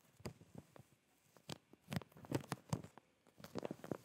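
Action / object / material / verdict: tap / plastic zip bag with folded fabric / plastic / none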